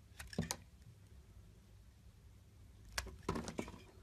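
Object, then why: Bar of soap cut by a metal blade. A metal blade cuts thin slices off a solid mint-green bar of soap with an embossed logo. Seven crisp, bright scraping cuts come in two bursts, three near the start and four near the end, separated by a quiet low hum.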